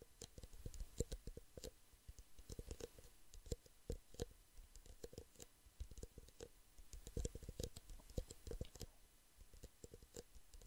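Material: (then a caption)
Plastic. Fingertips and nails tap quickly on the walls of two identical empty clear plastic drinking cups, small and hollow, one held upside-down in each hand beside the microphone. The result is a quiet, rapid patter of short, dry clicks with a soft low thump beneath each and a faint bright tick on top, dying away almost instantly.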